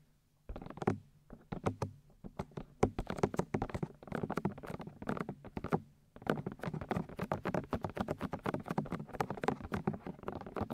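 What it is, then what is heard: Silicone microphone ears tapped with fingernails. Long white nails tap and scratch on the white silicone outer ears of a 3Dio binaural microphone. Quick, soft, muffled taps and rubbing scrapes patter in dense bursts, with brief pauses near 1.3 s and 6 s. The taps are dull and low, dying away almost at once.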